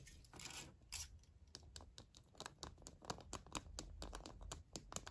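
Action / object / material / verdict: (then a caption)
tap / milk chocolate egg / chocolate / none. An unwrapped, hand-sized, hollow Kinder Surprise milk chocolate egg with a plastic capsule inside is held in both hands and handled with fingertips and painted nails. Quick, irregular, dry taps and scratches click on the chocolate shell, with bright crisp edges and no ring, over a soft low rumble.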